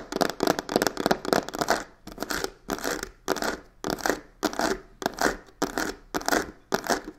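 Fingertips and nails grip the narrow face of a hollow, black croc-textured faux leather box with stitched edges, tapping and scratching it. The result is dense bursts of rough, raspy scratching with quick taps, repeating in an uneven rhythm with short silent gaps between them. The sound is dry and mid-focused with a bright edge, and almost no low end.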